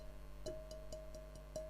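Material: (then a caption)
Glass. A large glass pot holding message cards is tapped six times, each tap giving a bright, harmonic ringing tone around 630 Hz that fades quickly. It sounds pleasant when tapped.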